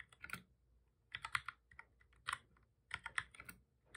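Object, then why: Plastic computer keyboard. Fingertips from both hands type steadily on a full-size black plastic computer keyboard with a hollow body, resting on a desk. Quick, bright plastic clicks come in uneven bursts with short gaps, each tap dying away almost instantly.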